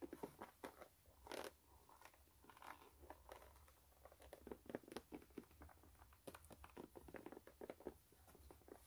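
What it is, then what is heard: Rubber shoe sole scratched. Long nails scratch the brown rubber outsole of a white canvas sneaker as it is turned in hand, with some handling of the shoe's edge. Quick dry scratches and crinkly rubs come close together in short bursts, with a broader rasp near the start and a faint low hum underneath.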